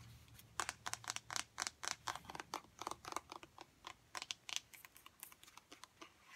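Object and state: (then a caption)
Plastic lotion pump bottle tapped with nails. Long nails tap quickly on a large, apparently full, 1-litre white plastic Sorbolene moisturiser pump bottle. About 29 quiet, bright, clicky taps come in an uneven rhythm. Each one is dry and dies away almost instantly.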